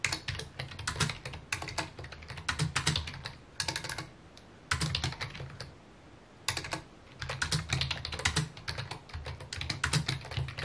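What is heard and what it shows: Fingertips type rapidly on a full-size white/mint plastic computer keyboard with a hollow housing, resting on a wooden desk. Dense bursts of bright, sharp key clicks over a low hollow thump come in quick runs, broken by brief pauses around the fourth and sixth seconds.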